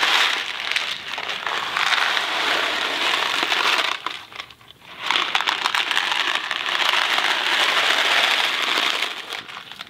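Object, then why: Cardboard box of dry pasta. A small Kraft mac and cheese cardboard box filled with dry pasta is held in one hand, tilted and shaken. The result is a dense, bright rattling of pasta against cardboard. The rattling dips to near quiet around the fourth second, then picks up again and fades at the end.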